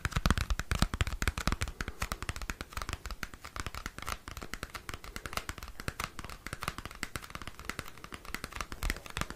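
Fingernails scratch and tap a flat, small square cardboard CD album sleeve. The result is a dense, steady run of quick, dry, crisp scratches and taps, each with a soft low thump and a bright papery edge that dies away instantly. The strokes are a little louder at the start and settle into an even rhythm.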